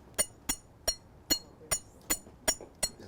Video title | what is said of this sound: Frisco Historic Park Lecture: Stories of the Mountain Man Trapper, Angel Vigil, History Colorado | It's not like a regular rock. Listen. Sounds like glass, doesn't it?